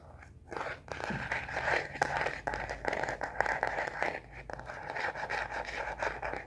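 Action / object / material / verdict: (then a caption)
tap / plastic phone case on a smartphone / plastic / none. Long nails tap and scratch the back of a star-print plastic case on a smartphone held upright. Quick, crisp clicks and scratchy rasps come in dense, overlapping bursts, centered in the mids with little low end.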